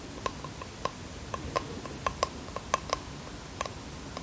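Nails tap on the wooden edges and face of a small bamboo box held in the hands. Quiet, short, dry taps come at an uneven pace, each with a hollow tone around 1 kHz and a bright click on top, over a low background hiss.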